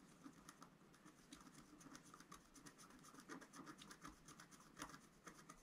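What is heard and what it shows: A wooden stylus scratches dense hatching into the middle of a flat, black-coated scratch-art sheet, about A4 in size, lying on a table. It makes a quiet, rapid series of dry, bright scratching strokes with a soft low-mid body, each stroke fading quickly.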